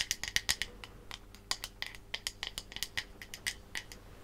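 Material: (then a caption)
Bamboo wood. Long manicured nails tap and scratch the flat back of a striped bamboo wooden hairbrush held close to the mic. A quick, irregular run of crisp, dry clicks and scratches sounds bright and high with almost no ring, over a faint low hum.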